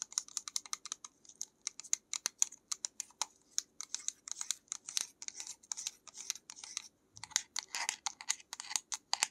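Long acrylic nails tap rapidly on the side and lid of a small white plastic pill-type bottle with a cap and paper label. The taps are sharp, bright clicks with almost no ring, coming in quick, uneven bursts with a brief pause near the seven-second mark.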